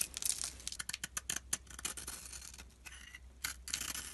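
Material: Soap.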